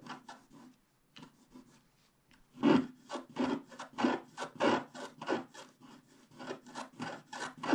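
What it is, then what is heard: Scratch-art card scraped with a wooden stylus. A wooden stylus scrapes the black wax coating of a flat scratch-art card over its colored base, working in the sky area above a unicorn. A few soft, dry strokes give way after a brief pause to a quicker, louder run of short raspy scratches, each a broad, bright rub that stops almost at once.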